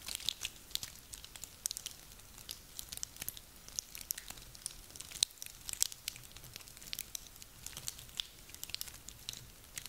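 Hands with long nails squeeze and crunch a handful of small, dry, woody pine cones. The result is a dense stream of quiet, bright, crisp crackles and sharp clicks with almost no low end, each snap dying away instantly.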